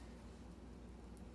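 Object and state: Nothing is struck.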